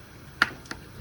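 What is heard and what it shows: Battered, deep-fried courgette slices in a bowl are tapped or crunched, giving two short, sharp, crisp clicks about a third of a second apart, with the first louder. The slices are crispy and ready to serve.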